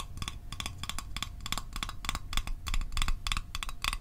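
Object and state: Small metal mint tin.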